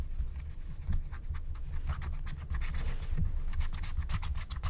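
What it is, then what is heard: Scratch-art paper being scratched. A wooden stylus, held with long painted nails, scratches the black coating of a thin scratch-art card lying flat. It makes a steady run of quick, dry, bright scratching strokes over a constant low rumble, scraping away the coating.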